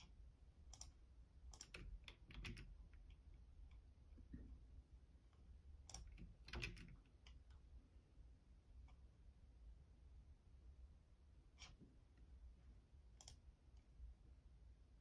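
Fingertips press and click the keys of a black plastic Logitech keyboard in irregular, sparse bursts. The sharp, bright clicks die away almost at once, with quiet gaps between clusters over a steady low hum.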